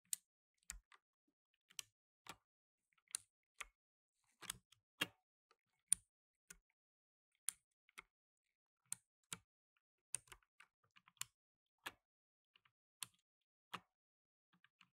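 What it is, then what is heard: Plastic mechanical keyboard. Blue nitrile-gloved fingertips press the plastic keycaps of a black tenkeyless mechanical keyboard one at a time. About twenty sharp, bright, high clicks sound at a quiet level, each dying away almost at once, with short silent gaps between them.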